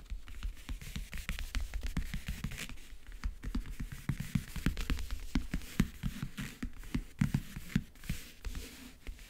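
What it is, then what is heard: Backgammon case lid, nail tapping and scratching. Long nails tap and scratch the map-print lid of a closed, hollow backgammon case. A dense stream of quick, dry taps sounds over a hollow low body, mixed with brief scratchy sweeps. Each tap dies away almost at once.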